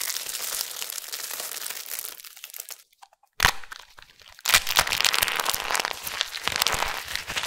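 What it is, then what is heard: Dry, crispy soap flakes. Fingers rake through a pile of thin, crispy amber soap flakes lightly dusted with starch, making a dense, bright crinkling crunch that fades to near silence. A single sharp crack follows. Then hands with long nails grab and crush handfuls, bringing loud, continuous crackling and crunching that lasts to the end.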